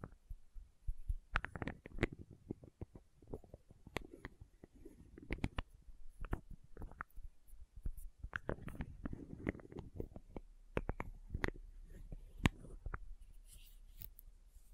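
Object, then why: Plastic condiment bottle with plastic cap. Fingernails scratch and tap the red plastic cap and the label of a small labeled plastic condiment bottle. Quiet, irregular clicks and short, sharp taps stand out over soft, low-heavy scratching. Each tap dies away almost at once, with occasional bright ticks.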